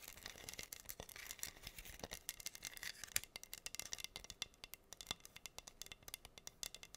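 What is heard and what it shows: Long nails scratch and tap across a flat, solid wooden heart board covered in pink acrylic rhinestones. The result is a quiet, bright stream of dozens of dry, rapid clicks and scrapes, each ending almost instantly, with very little low end.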